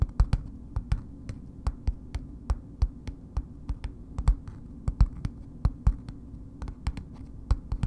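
A solid bar of soap in a red paper wrapper, held upright, is tapped with long nails. Around thirty short, dry taps come at a slow, uneven pace, each a quick, bright click that dies away almost at once. A steady low hum runs underneath throughout.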